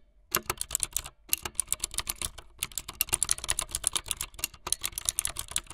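Fast typing on a full-size plastic mechanical keyboard with white, blue and yellow plastic keycaps and a blue backlit frame, struck by fingertips with long light-blue nails. Bright, clicky keystrokes come in quick bursts, with two short pauses near the start and middle.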